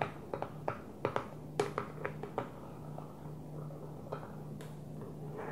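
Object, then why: Plastic food storage container. Long nails tap the top of an empty, hollow clear plastic food storage container resting upside down on its blue lid. The taps are short, dry clicks with a hollow ring near 400 Hz that fades almost at once. They come in an uneven run, then thin out to a few scattered ones over a faint, steady low hum.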